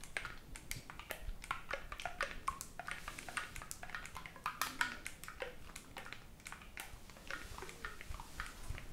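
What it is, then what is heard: Oboe keys clicked by fingers. Fingertips rapidly click and tap the silver metal keys of a hollow black oboe held in both hands, without blowing into it. The result is a quick, uneven stream of sharp, dry clicks, some with a brief faint pitched ring around 1.4 kHz, over a low steady background rumble.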